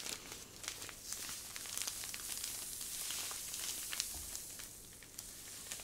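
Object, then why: Plastic zip-lock bag filled with fine sand. A medium clear plastic zip-lock bag full of fine white sand is held in both hands and squeezed and crinkled with long nails and fingertips. It makes a steady, bright, hissy crinkling with scattered sharp little clicks and crackles.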